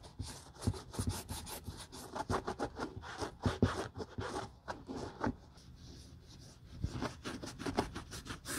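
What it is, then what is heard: Patent leather boot being rubbed with cloth. A grey terry cloth rubs the glossy heel counter and welt of a single hollow, empty Hermès patent leather Chelsea ankle boot held by its heel in a gloved hand. Quiet, repeated scratchy rubbing strokes come in quick bursts, mostly low and muffled with faint bright swishes. The rubbing eases off briefly near the middle before picking up again.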